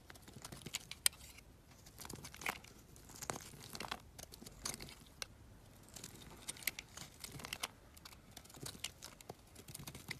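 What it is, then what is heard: Bar soap being carved. A palm-sized solid blue Cuticura bar soap, held in the hand, is shaved and carved with a metal utility knife blade. Dry, crisp scraping and crunching strokes come in quick irregular bursts across the whole clip, bright and hissy with little low end. Thin flakes peel off the bar with a crinkly, tearing texture.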